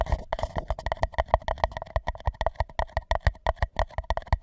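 An empty white paper cup is held tilted over a microphone, one hand steadying its side while the other taps its base with fingertips. It gives a rapid, uneven run of about 28 short, dry taps, each a soft low thump with a hollow papery tone around 650 Hz and almost no ring.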